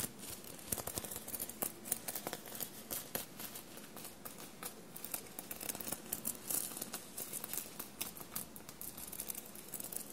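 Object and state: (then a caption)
Sequinned fabric shirt being scratched. Long blue-painted nails scratch and rub a soft, bunched dark navy knit fabric shirt covered in small silver metallic paillettes and studs, resting on a table. The result is a steady run of quiet, crisp, bright scratching and crinkling ticks, with short, sharp clicks scattered throughout.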